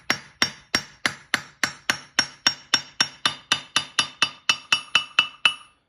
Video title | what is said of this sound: Anvil JHM This ring after the chains and a magnetic trick | the heel will always ring